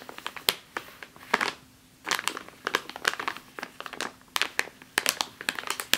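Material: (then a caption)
Plastic. Long nails tap and scratch across the top of a full plastic bag of flour resting on a table. The result is a run of sharp, bright crinkling clicks and scratchy rustles with a brief quiet gap near the two-second mark before the tapping resumes.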